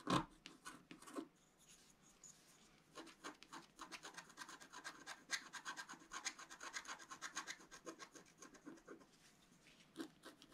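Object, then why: Coated paper scratch-art sheet scratched with a wooden stylus. A wooden stylus tip scratches across a flat, thin, coated scratch-art card lying on a table, moving in continuous strokes. Quiet, dry, bright rasping comes in quick, closely spaced bursts, starting with a few sharper strokes, then a brief lull before a long run of steady scratching. The scratches stop abruptly with almost no ring.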